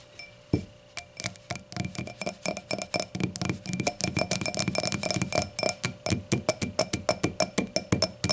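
An empty glass hurricane glass lies on its side, stem and round foot showing, as long nails tap the edge and face of its solid glass foot. A rapid, uneven series of short, bright clinks and ticks follows, each with a thin ringing tone that fades quickly.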